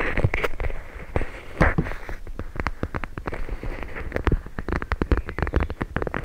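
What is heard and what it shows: A clear plastic pouch filled with teal gel beads is held up while its plastic surface is scratched and tapped with long nails. A dense run of dry, crisp clicks and taps mixes with soft crinkly scratching, each hit short with a faint squishy low thud. The tapping gets quicker and sharper toward the end.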